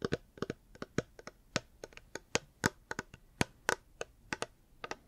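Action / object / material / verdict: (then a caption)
tap / hard plastic water bottle / hard plastic / none. Fingers tap a reusable hard plastic water bottle in an irregular rhythm, giving about 22 short, dry clicks and knocks. Each tap has a quick attack with a faint hollow mid-range body and a bright edge, dying away almost at once with no ring.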